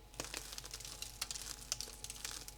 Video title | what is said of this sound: QUE FAIRE AVEC DE LA FARINE DE SARRASIN ? 4 RECETTES faciles & originales :) sans gluten + vegan | Il a une croûte bien croustillante.